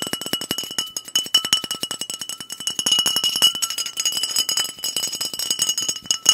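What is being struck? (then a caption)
Glass bottle filled with liquid. A liquid-filled Clearly Canadian glass soda bottle with a blue cap is tapped rapidly with fingernails. About fifty quick, bright clinks ring at around 2.9 kHz with high overtones, each dying out almost at once. The tapping runs steadily and gets slightly louder toward the end.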